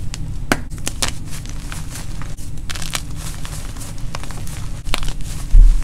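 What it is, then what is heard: Gym chalk block being crushed. Hands break pieces off a white gym chalk block (magnesium carbonate) resting on an orange-dusted surface and crush them into powder with their fingers. Dense, gritty crumbling and crackling crunches run throughout over a heavy low rumble, with brief sharp snaps. The sound grows louder in a final burst of crushing near the end.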